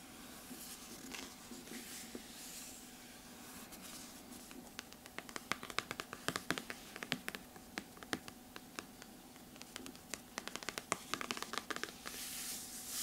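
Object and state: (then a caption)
Hardcover book cover, scratched. Fingertips and long nails rub and scratch across the glossy cardboard cover of a large, solid hardcover paper book lying flat. Soft, airy rubbing comes first, then a dense run of sharp, bright nail clicks and scratches through the middle and later part of the clip. It ends with a brief swell of brighter hiss, all over a faint steady hum.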